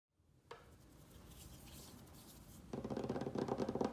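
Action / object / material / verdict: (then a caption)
tap / wooden tabletop / wood / none. Fingertips and nails of both hands tap and scratch quickly on a solid butcher-block style wooden tabletop with some loose soil on it. A single sharp tap is followed by soft, low scratching, then a fast run of rapid, dull tapping that grows louder toward the end.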